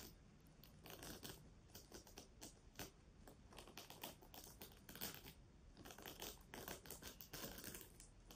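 Long nails scratch and rub a pink reversible plastic sequin pouch held close to the mic. Bright, crackly rustling and clicking come in dense, irregular bursts at a quiet level, with the sequins flipping and ticking throughout.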